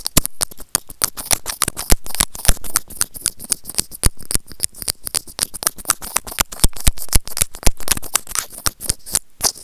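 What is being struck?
Small plastic earphone remote scraped with plastic tweezers.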